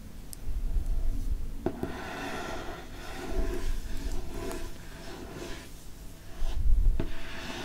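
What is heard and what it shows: A fingertip and nail rub and trace across the moon-decorated cover of a Harry Potter hardcover paper book. Soft, dry scratching and brushing swells and fades in slow waves over a low, close rumble, with a few faint sharp ticks along the way.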